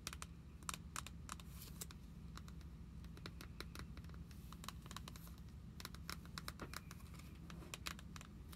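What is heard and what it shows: Long acrylic nails tap and scratch the clear plastic pockets of an open binder page holding paper trading cards. Rapid, irregular sharp clicks and brief crinkly scratches sound over a steady low hum.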